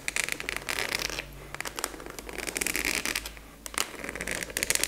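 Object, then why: Plastic expanding file folder. Long nails tap and scratch along the top edge of a large, translucent purple plastic expanding file folder with a black clasp, which appears to be empty. Bursts of bright, crackly scratching and quick, sharp plastic taps are separated by brief quieter stretches. The sound is mostly high and dry, with almost no low end and no ringing after each tap.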